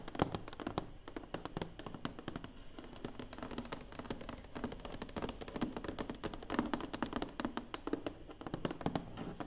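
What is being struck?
Large flat cardboard box.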